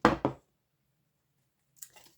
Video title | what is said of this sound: Cornell & Diehl - Gentlemen caller #pipe #briarpipes #briar #armellini #tobacco #deertongue | we can't hear anything. If usually if you shake you can hear the the tobacco move.